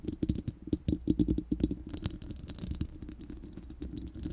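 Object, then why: Steel mesh microphone grille. Long manicured nails of both hands scratch and tap the bare, hollow, round steel mesh grille of a studio microphone with no cover. Quick, uneven clicky taps mixed with scratchy rasps ring with a hollow tone around 300 Hz and a bright metallic edge. The tapping is sharpest and loudest in the first second and a half, then settles into softer continuous scratching.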